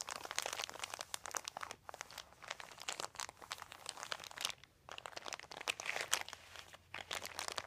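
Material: Plastic.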